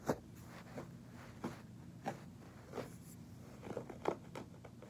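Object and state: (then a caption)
Carpet pile scratched. Fingertips scratch and rub the pile of a soft beige fabric carpet, and at the end the knuckles and fingers of a hand press and rub it. About eight soft, muffled scratching swipes rise over a quiet, steady background, each short and dull with little brightness.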